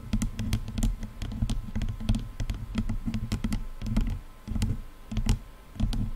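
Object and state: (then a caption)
Plastic headphone headband tapped with nails. Long nails tap quickly on the black plastic headband of over-ear headphones. The result is a fast, irregular patter of short, bright clicks, each carrying a hollow low thud, over a faint steady hum.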